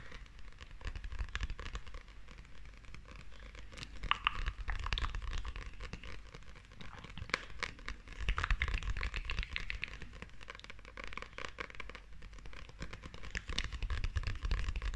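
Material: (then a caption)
Glossy paper. Long nails scratch and tap the glossy paper cover of a closed paperback manga held in both hands. The result is a dense, irregular crinkly scratching with quick taps, possibly from a shiny coating or wrap on the cover. A steady low rumble sits under it throughout.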